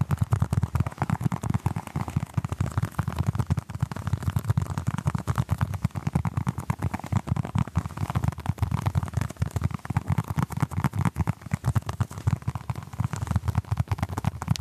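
A small orange basketball-patterned foam mini stress ball is held in both hands close to a microphone while fingertips and short nails tap and scratch its textured surface. The result is a dense, continuous stream of quick, dry, muffled taps and scratchy rustles, mostly low and thumpy with very little brightness.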